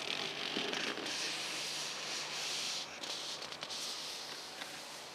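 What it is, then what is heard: Leather-wrapped steering wheel. Fingertips and long nails scratch and tap the leather-wrapped steering wheel rim of a Geely Atlas Pro. A steady, bright, dry scratching hiss fills the clip, broken by a few soft, quick taps and brief dips in level.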